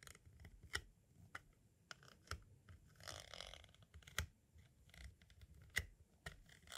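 A pointed tool traces along the lower edge and window of a small, hollow, white hard-plastic audio cassette shell. Quiet, irregular scratchy scraping is punctuated by sharp, bright clicks and taps that die away almost instantly.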